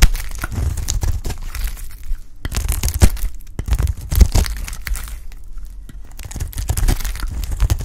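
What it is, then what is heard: Dry soap bar being shaved. A white, solid, rounded bar of soap held in the hand is shaved into flakes with a utility knife blade. The blade makes a steady run of short, dry scraping and crunching strokes, with occasional sharper cracks, over a heavy low rumble.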